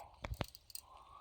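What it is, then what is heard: Brittle rime ice on a branch. Rime ice on a tree branch, with a fragile outer layer of whitish crystals over clear inner ice, is touched and breaks off easily. A few short, dry crunching snaps with low thumps and bright crackle cut off almost instantly, followed by a faint, steady background hum.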